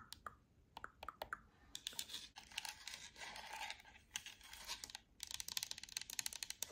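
Long nails tap across the face, buttons and d-pad of a black, hollow plastic Xbox controller held close. It opens with sparse, sharp clicks, moves into a dense, bright scratching and rustling stretch, and ends in a rapid flurry of light, crisp taps with almost no low end.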